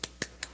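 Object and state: Fractured sinus floor bone.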